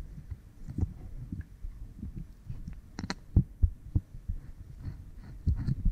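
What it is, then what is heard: Oiled silicone ear microphone being scratched. Fingernails rub and scratch behind the left ear of a pink silicone binaural ear microphone, a solid soft block with two ears coated in oil. The sound is a muffled, low rumbling rub with soft thumps and brief bright scratchy clicks.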